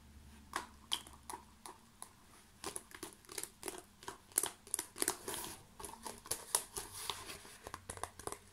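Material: Plastic.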